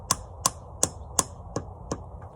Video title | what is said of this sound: Evening Chores | you kind of hear a little thump thump. Hard to describe. Once you hear that thump thump, you stop tapping.